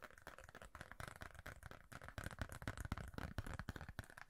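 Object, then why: Thin rigid plastic card. A thin, rigid red plastic referee card is held in both hands near the face while fingertips and nails scratch and tap it. The result is quiet, dense, dry clicks and scratchy rustles in rapid succession, each dying away almost instantly with no ring.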